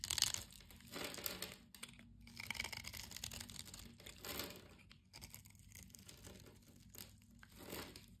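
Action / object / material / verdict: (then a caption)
scrape / bar of soap cut with a blade / soap / none. A solid blue-and-white striped bar of soap is held in the hand while a blade cuts across its pre-scored surface, breaking it into crumbling flakes. Soft, bright crunching and crinkling come in uneven bursts, with a sharp crack near the start. The sound is quiet and mostly high-pitched, with little low end.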